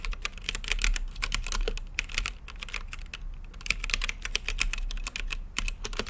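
Fingertips type continuously on a plastic mechanical keyboard with plastic keycaps on a translucent acrylic case, making a steady stream of quick, sharp clacks. Each keystroke is crisp and bright, centered around 2.5 kHz, and dies away almost instantly. A low, constant hum sits underneath the typing.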